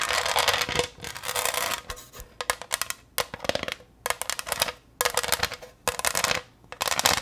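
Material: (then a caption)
Glass. Long nails tap and scratch the textured surface of a green pressed-glass pineapple tray held close. The result is bursts of bright, hissy scratching broken by short gaps, with quick light clicks from the taps scattered throughout.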